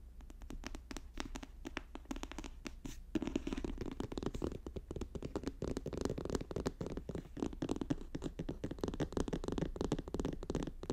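Fast tapping and scratching on a paper notebook produces a quiet, dense stream of short dry taps over a faint low hum. After about three seconds the scratching grows fuller and more continuous, centred in the low mids around 285 Hz.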